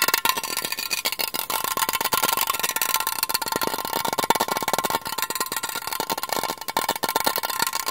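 A silver Asahi aluminium beer can, standard size and hollow, is held in both hands and tapped and scratched rapidly with fingertips and nails. The result is a dense, continuous stream of quick, dry, bright clicks and scratches with a thin metallic ring around 920 Hz and almost no low end.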